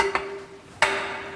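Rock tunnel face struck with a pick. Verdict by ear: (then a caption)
Solid. A pick strikes the rock at a tunnel working face built to replicate the Box Hill tunnel, hitting twice with sharp, bright metallic clinks that ring briefly with a clear tone. The rock rings, which shows it is solid rather than loose rock that would have to come off, and it is judged properly solid.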